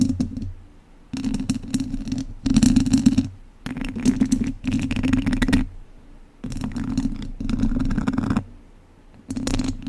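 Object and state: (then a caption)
Metal mesh microphone grille being scratched. Two wooden chopsticks scratch along the sides and base of a hollow, domed wire-mesh microphone grille. The result is bursts of dense, rasping scratches with a boomy low body around 200–300 Hz, separated by short quiet pauses.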